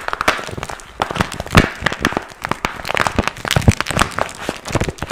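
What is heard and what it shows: A small, empty, pink patent vinyl (PVC) cosmetic pouch with a zipper and strap is held in both hands while fingertips squeeze and crinkle it. The result is a dense, irregular run of sharp crackles and crinkling snaps with soft low thumps, continuing steadily with no pauses.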